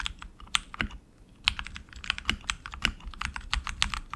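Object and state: Mechanical keyboard being typed on.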